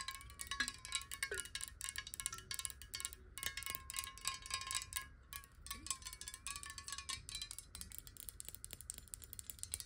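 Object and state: Glass water bottle tapped with nails.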